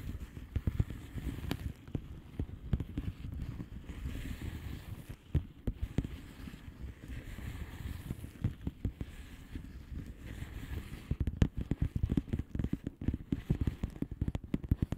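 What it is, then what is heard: Plastic bubble wrap envelope. Long painted nails on both hands tap a flat blue plastic bubble wrap envelope filled with air bubbles. The result is a dense, uneven patter of short, soft, dull taps that are mostly low and muffled, with a few sharper clicks standing out, especially toward the end.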